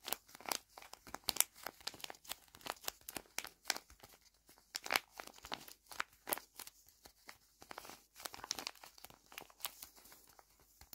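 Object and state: Tape-covered paper squishy.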